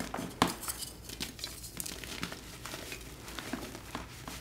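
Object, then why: Blocks of magnesium carbonate gym chalk. Two hands crush and squeeze solid pastel glittered gym chalk blocks (magnesium carbonate) in a tray, breaking them into crumbs and powder. The result is a steady run of soft, gritty crunches and crumbling crackles, with one sharper snap near the start. Rubbing hisses fill the gaps between them.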